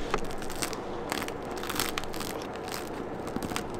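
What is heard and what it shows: Fingertips press and rub the hard, floured, crackled crust of a round, freshly baked rye-wheat bread loaf, a solid bread with an airy crumb. The crust gives a steady run of dry, bright crackles and crunches over a low rustling bed, with a few sharper snaps standing out.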